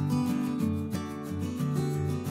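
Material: Nothing is struck.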